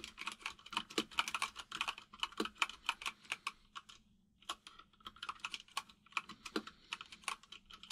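A white full-size mechanical keyboard with plastic keycaps sits on a desk while both hands type rapidly with the fingertips. Quick, bright clicking taps come in fast bursts, broken by a brief pause near the middle before the typing resumes.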